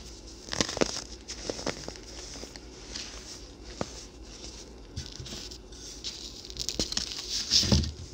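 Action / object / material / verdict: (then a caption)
scrape / compressed baking soda chunk / baking soda / none. A small solid chunk of pressed white baking soda, held in both hands over loose powder, is crumbled and rubbed between the fingertips. Quick, dry crackles and soft patters come through in irregular bursts over a bright, hissy rustle. The crunching grows denser and louder toward the end with a low thump.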